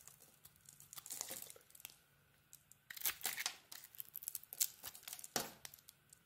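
A knife blade scrapes the green glitter coating off a solid soap bar with a cream core, held in the palm. The result is quiet, bright, crackly scraping in short bursts, some louder than others, with brief pauses between strokes.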